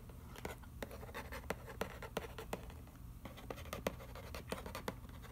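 Fingertips and fingernails scratch and trace across the front panel of a hollow, printed cardboard macaroni and cheese box lying on newspaper. Dry, papery rasps are broken by sharp, bright clicks at an uneven pace. A steady low hum runs underneath throughout.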